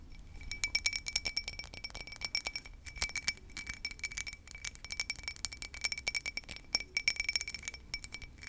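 A small, hollow, empty cut crystal whiskey tumbler, held in both hands, is tapped and scratched with long nails across its cut pattern. Rapid, crisp clicks and brief glassy pings ring at a steady tone near 2.3 kHz, with a fainter bright tone above, over a soft scratchy hiss. Each tap dies away almost instantly.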